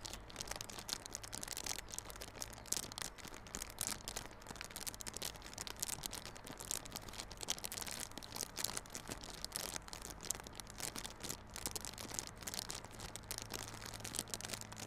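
Fingers scratch and crinkle the clear plastic wrap on a small yellow cardboard Realme Buds Classic earphone box held on its side. The result is a steady run of dense, bright crinkling and scratching over a faint low hum.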